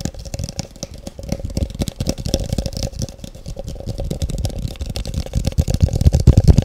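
Long fingernails of both hands tap fast on a large, empty, hollow, translucent frosted plastic cup held close up. The result is a dense, irregular stream of short, dull, low-pitched clicks and thuds that grows louder toward the end.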